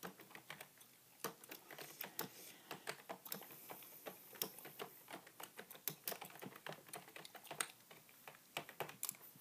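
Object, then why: Plastic computer keyboard. Fingertips type on a beige full-size plastic keyboard with a hollow body, with only one hand typing by the end. The quiet, steady run of about forty keystrokes sounds like short, crisp, bright taps with almost no low end and no ring.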